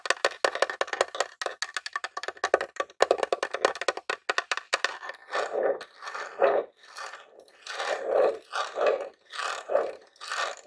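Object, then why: Plastic game console casing. Fingertips and short nails tap rapidly on the top of a grey plastic Nintendo mini console, a hollow box, producing dense, dry clicky taps with a hollow mid-range knock and no low end. After about five seconds the taps give way to slower, longer scratchy strokes that swell and fade in a steady rhythm.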